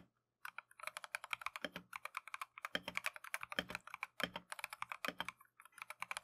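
A compact Keychron V1 mechanical keyboard with Tangerine switches and green and white Matcha plastic keycaps is typed on continuously with gloved fingertips. About 44 short, bright, clacky keystrokes follow in a quick, uneven rhythm after a brief silence, with a few strokes landing with a deeper thump. Each stroke dies away almost instantly.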